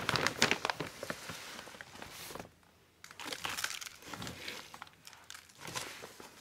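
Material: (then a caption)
Plastic. Gloved hands squeeze and rub a large, full, yellow printed plastic bag of garden soil that is open at the top. The result is bright, dense crinkling and crushing bursts, with a brief quiet pause partway through before the crinkling resumes.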